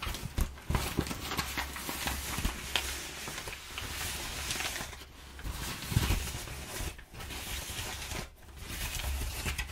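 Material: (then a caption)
Paper. Fingertips and long nails rub and scratch perforated, crumpled kraft packing paper. A steady, broadband crinkling and scraping texture is heard, with occasional sharper scratches and brief quieter gaps.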